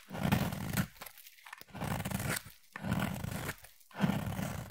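A utility knife blade scrapes and shaves the surface of a solid green striped bar of soap held in the hand. Four long rasping strokes are heard, each a dense, low-heavy scratching sound with brighter crackle on top, separated by short quiet gaps.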